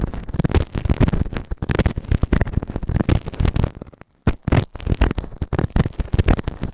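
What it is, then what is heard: Silicone ear microphone scraped inside the canal. A white plastic ear tool held in fingertips scrapes inside the ear canal of a soft, solid grey silicone ear-shaped microphone on a round base. It makes close, dense, crackly scratching with deep, muffled low rumbles and rapid bursts, pausing briefly near the four-second mark before resuming.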